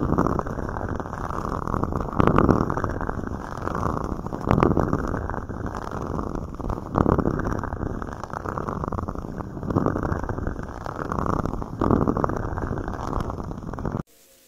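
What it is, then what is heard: Plastic cups. Two small, empty, hollow red plastic cups are held against both sides of a microphone while fingertips and nails tap, rub and scratch the plastic. The result is a steady, muffled, low scratching and rustling with sharper tapping swells, and it cuts off abruptly at the end.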